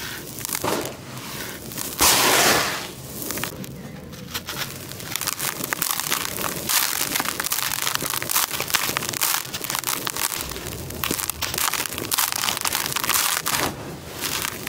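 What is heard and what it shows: Dry grey concrete grit in a plastic tub is crushed by hand in packed handfuls, fine dust pouring out, then the surface is raked with the fingers. A dense, irregular stream of bright, gritty crunches and crackles runs throughout, with a louder hissing burst of pouring grit near the start.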